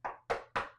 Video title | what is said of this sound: Is Gator coach Billy Napier "Too Nice"? | Me knocking on wood, except it's plastic.